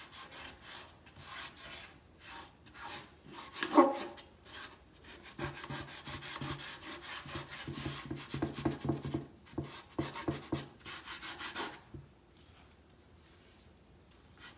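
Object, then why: Wooden crate slats. A hand rubs the white-washed X-brace slats of a large hollow wooden crate box stand with a cloth or sandpaper while the other hand holds its top edge. Soft, dry rasping strokes repeat in a steady rhythm, with one sharper scrape near four seconds. They then grow denser and louder with a low hollow hum from the box before fading to near silence at the end.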